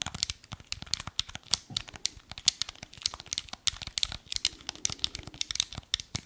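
Fingertips and nails tap and scratch a small, hollow, black hard-plastic Wii remote held in both hands. The result is a rapid, irregular run of crisp, bright clicks and scratchy crinkles with almost no low end. Each click dies away instantly.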